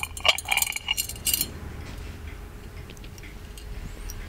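Fingertips and nails tap the lid and body of an ornate, hollow gold metal genie lamp, making bright, short clinking taps with a ringing tone around 3 kHz that bunch together in the first second and a half. The lamp is then turned to show its base, leaving soft, quiet handling noise with a low rumble.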